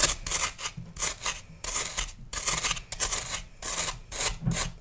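A metal knife scrapes and carves the surface of a hand-sized, solid, pale green floral foam block held in one hand over a plastic tub, with crumbs falling away. The sound is a run of bright, raspy scraping strokes in quick repeated bursts, with short gaps between them.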